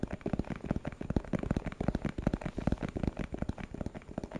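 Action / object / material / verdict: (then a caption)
tap / small translucent plastic box / plastic / none. A small, hollow, translucent plastic box with a purple printed label is held in the hand and tapped with fingertips and nails. About 25 quick, dull, low taps follow one another in an uneven, continuous pattern. Each tap dies away almost at once, with little bright edge.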